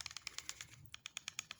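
A Smith & Wesson boot knife in its polymer boot sheath is shaken as a shake test, producing 12 quick, sharp, high-pitched clicks with almost no ring. The knife stays held tight in the sheath and does not come loose, showing excellent retention.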